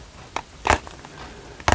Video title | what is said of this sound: ASMR 💍 The Gem That Outsparkles Emerald… - GREEN APATITE Ring Reveal in Pure 18ct GOLD | That's the sound of 18 carat white gold